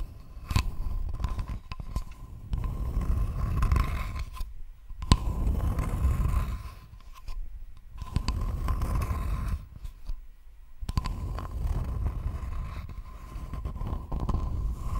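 Long nails scratch across a thin, flat, rectangular wooden board in several rasping bursts separated by short pauses. The scraping is dense and weighted toward low frequencies, with a faint steady tone near 1 kHz running underneath.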